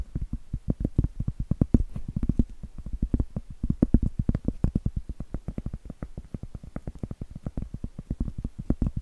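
Cork is tapped in a dense, steady run of quick, dull taps lasting about nine seconds. Each tap is short and dry with almost no ring, a low, woody knock centered around the low hundreds of hertz, with no voice.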